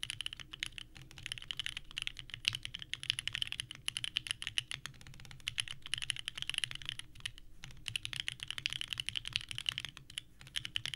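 Continuous fast typing on a small 65% mechanical keyboard with a purple case and white ABS keycaps resting on a desk mat. Both hands strike the keys with the fingertips, producing bright, clacky presses in a dense, steady stream with a faint low hum underneath.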